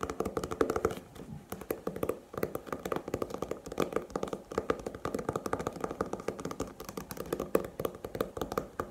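Long painted nails rapidly tap and scratch the glossy printed paper cover of a small, solid paperback manga volume held upright in the hands. The result is a steady stream of short, dry, clicky taps mixed with light scratching, centered in the midrange with almost no ring and little deep bass or high brightness.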